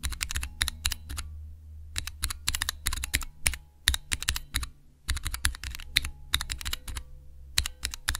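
Fingertips and nails press the keys of a small clear plastic Cherry MX switch tester with transparent keycaps. The result is fast, bright mechanical clicks and clacks in quick bursts with short pauses between them. A steady low hum runs underneath.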